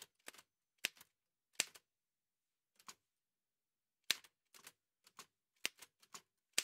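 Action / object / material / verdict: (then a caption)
strike / metal manual typewriter / metal / none. White satin-gloved fingertips type on the keys of a large, heavy old Remington manual metal typewriter with a dark painted body and paper loaded. Sharp, bright key clacks come in irregular bursts with quiet pauses between them. Each strike stops almost instantly, with no ring.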